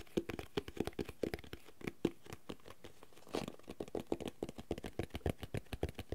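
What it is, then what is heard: Cloth-covered hardcover notebook. Fingertips and nails tap and scratch the dark red cloth-covered board cover and the thick cream page edges of a solid, medium hardcover notebook held in both hands. A rapid, uneven run of short, dry, dull taps with a low-mid body dies away almost instantly. A soft, brushing scratch fills a brief lull near the middle before the tapping resumes.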